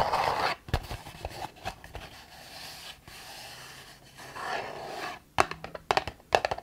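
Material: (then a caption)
Cardboard. A hand-sized, hexagonal printed cardboard candle gift box from My Jolie Candle, lid flaps partly open, is held in both hands while long nails scratch and tap its sides. A breathy scraping rustle opens, followed by soft, dry scratches and quiet stretches, then a cluster of sharp, bright taps near the end.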